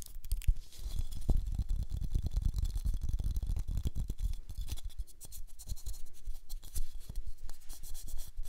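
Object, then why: Cellulose sponge. A small, flat, yellow cellulose sponge, porous and soft, is held in both hands close to the mic and squeezed and scratched with the fingertips. The result is a steady stream of dense, crackly scratching and squishing, with heavy low thumps and a bright, airy hiss over the top.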